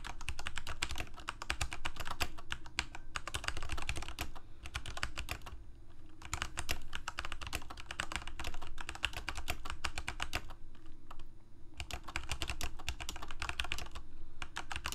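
Fingertips of both hands type on a Corsair K68 full-size mechanical keyboard with plastic keycaps, Cherry MX Red switches and a backlight, resting on a desk. Rapid, steady bursts of clacky keystrokes, each a short dull thock with a bright click on top, run with brief pauses around 3, 6 and 11 seconds.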